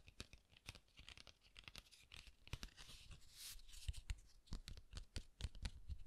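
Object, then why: Cardstock greeting card. A closed red cardstock pop-up card with a guitar logo is held in both hands while fingertips and nails rub and scratch its surface and edges. Quiet, irregular papery scratching and soft rubbing mix with sharp crisp ticks, and a brighter hissy swell of friction comes near the middle. The sounds grow slightly louder toward the end.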